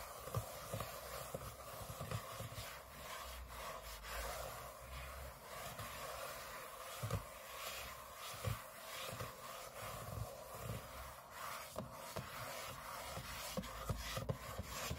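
Short fingernails on both hands scratch the aluminium lid of a closed space-grey MacBook lying flat on a table. The result is a steady, quiet, dry scratching and rubbing with a low rumble beneath. Occasional sharper scrapes stand out briefly.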